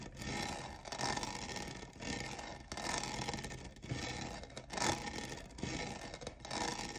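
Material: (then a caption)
Plastic. Fingernails scratch and rub the sides of a hollow, lavender, diamond-textured plastic cold cup. The result is a steady, bright, raspy scraping that swells and fades in repeated strokes, with a faint hollow ring underneath.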